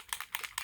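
A plastic e.l.f. primer mist spray bottle with mixing balls inside is shaken, making the balls rattle like a paint can. Five quick, bright clicks are heard with almost no ring, and the bottle sounds normal.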